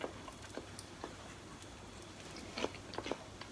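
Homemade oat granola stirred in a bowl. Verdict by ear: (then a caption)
Crispy. Homemade oat granola, just out of the oven and back in its bowl, is stirred or scraped. It gives short, sharp, dry crunches at an irregular pace over a quiet background. The crisp sound shows the granola is baked through and dry.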